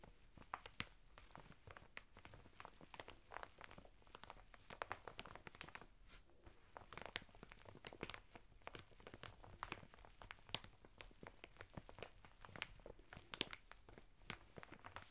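Fingertips and short nails of both hands press, tap and scratch across a closed, hand-sized, thin retail packet lying on a table: a woven sisal/jute bath mitten sealed in clear plastic on a red printed cardboard backing card. The result is a quiet, dense stream of dry plastic crinkles, crunchy scrapes and sharp, bright ticks that stop instantly, with the coarse weave adding a rough texture beneath the plastic.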